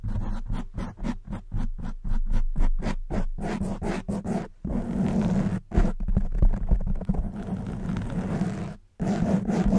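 Long white nails scratch the front of a soft black foam windscreen on a silver condenser microphone. Quick rhythmic bursts of dull, rumbling scratching give way to a denser, continuous scraping. A brief silence falls just before the end, then the scratching resumes.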